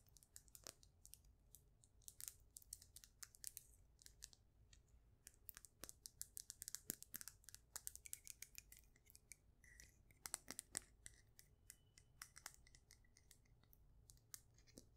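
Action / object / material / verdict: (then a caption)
tap / faceted polished stone polyhedron / stone / none. Long acrylic nails tap rapidly on a palm-sized, solid, faceted polished stone with a beige and brown pattern, possibly jasper. The dozens of quiet, bright, clicking taps are sharp and short with almost no ring, over a soft low background hum.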